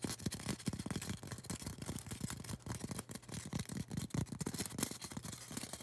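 Long orange acrylic nails scratch and tap a tall, solid white polystyrene foam cone. The result is a quick, irregular stream of dry, muffled taps and scratchy rubbing with a mostly low, dull body. Each tap dies away almost instantly.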